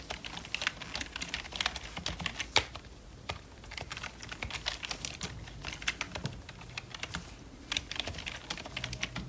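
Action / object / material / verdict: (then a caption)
tap / plastic membrane computer keyboard / plastic / none. Gloved fingertips type quickly on a full-size black plastic wireless Logitech membrane keyboard with a hollow plastic casing, lying on fur. A dense run of bright, short plastic taps and clicks follows with little ring, in irregular bursts with brief pauses.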